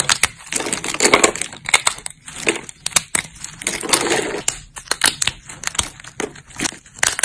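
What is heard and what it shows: Thin, brittle, solid silver-grey dried soap plates in a pile are snapped and crushed between fingertips and long nails. Dense, bright crunching and crackling comes in bursts, with many sharp snaps over the 7 seconds, mostly high-pitched with almost no low end.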